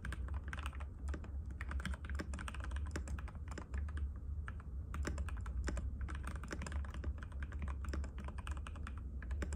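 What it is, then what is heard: Plastic mechanical keyboard being typed on. Rapid, continuous typing by fingertips of both hands on a compact cream-white mechanical keyboard with plastic keycaps and a hollow case, resting on a glass table. Dense, short clicky taps with almost no ring ride over a steady low hum.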